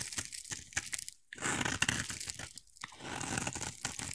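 A utility knife blade scrapes and carves a solid, hand-sized oval bar of white soap, peeling off white shavings. Dry, bright crunching and scraping strokes come in bursts, broken by two short silent pauses.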